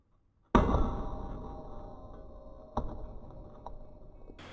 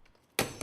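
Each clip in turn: First: tempered glass pane intact after steel ball drop. Second: ordinary glass pane shattered by dropped steel ball.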